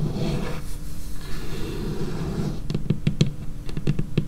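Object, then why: Laminated wooden tabletop. Long painted fingernails of both hands work close up on a large, flat, solid dark-brown laminated wooden tabletop. A soft, low scratching rustle runs for the first couple of seconds, then gives way to a quick series of crisp fingernail taps. The taps are dull, low-pitched knocks with bright clicky edges that die away almost at once.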